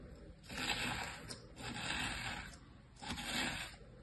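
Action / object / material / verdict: scrape / kinetic sand in a plastic tray / sand / none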